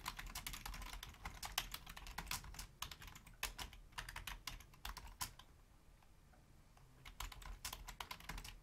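Rapid typing with long fingernails and fingertips of both hands on a full-size black plastic Logitech membrane keyboard with a hollow housing. Bright, clicky key taps come in quick bursts, with a pause of near-quiet in the middle before the typing resumes.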